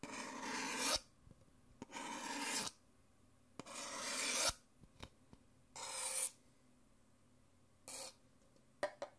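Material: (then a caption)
Paper. A thin white stirrer stick scrapes the inside of an empty, thin-walled, white printed Nespresso paper cup, alternating with fingernails scratching and tapping its hollow outside wall. Long, bright, raspy scraping strokes come in bursts of about a second, separated by quiet gaps with a few short, dry taps, the last ones near the end.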